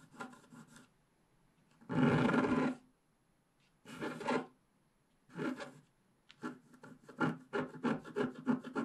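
A wooden stylus scratches the black wax coating off a flat scratch-art card over its colored base, with the page held down by one hand while working in the lower left area. Short, dry rasping strokes come in separate bursts, and one longer, louder scrape sits near the start. A quick run of shorter scratches follows at the end.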